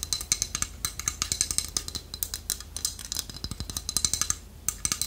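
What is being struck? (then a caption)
Small carved wooden figurine. Long nails tap and scratch the beak of a small, solid, polished carved wooden toucan figurine held close. The result is a rapid, uneven stream of bright, dry clicks and scrapes that stop almost instantly, with little low end.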